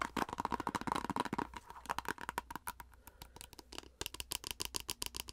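Long acrylic nails scratch and tap fast on a plastic face-mask squeeze tube in an irregular flurry of crisp, bright clicks. A faint tone near 930 Hz rings through the first half over a low steady hum. The strikes then thin into sharper, more separated taps before a quick burst at the end.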